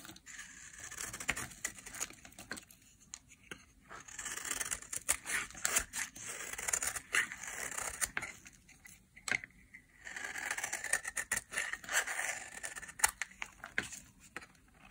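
A utility knife blade carves and scrapes flakes off one end of a dry, pale yellow soap bar held in the hand. Crisp, bright scraping and shaving strokes come in bursts of dense, papery crackle with quiet pauses between them. There is almost no low end.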